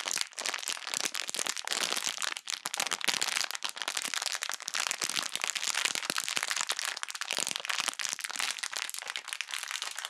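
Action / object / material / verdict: scrape / plastic bag of foam bead slime / plastic, foam beads / none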